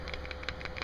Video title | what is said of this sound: Audi Axle & CV Boot Replacement | when you shake it, you shouldn't hear that clicking sound. That means that it's bad.